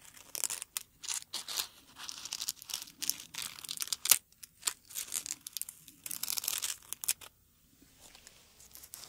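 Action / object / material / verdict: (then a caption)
scrape / rose flower head and petals / dried petals / none. Fingertips pinch and crinkle the petals of a single dried dark red rose on its stem, making dry, bright, papery crackles and tearing-like rustles in quick, uneven bursts. The crinkling runs steadily, then drops to faint, sparse rustles near the end.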